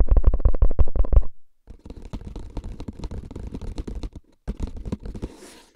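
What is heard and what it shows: Fingertips tap and scratch a tall, hollow, paper-wrapped cardboard tube can labeled "Tingles" with a metal lid, held upright in front of the chest. A burst of fast, deep, hollow thumps opens the clip, then after a short silence come softer, rapid scratchy taps that keep going, with a brief pause, until the end.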